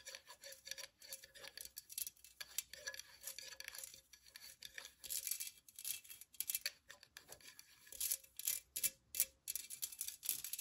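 Long nails tap and scratch a hollow, empty, pink perforated metal pencil cup, first tilted and then set upright. The result is a rapid stream of quiet, bright, clicky taps with very short ring, mixed with thin, high scratching and a faint steady tone near 550 Hz underneath.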